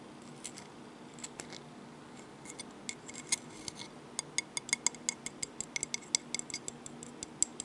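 A seashell is tapped and handled, producing a string of quick, sharp, bright clicks. The taps come sparsely at first, then thicken into a faster, irregular run in the second half, over a faint steady low hum.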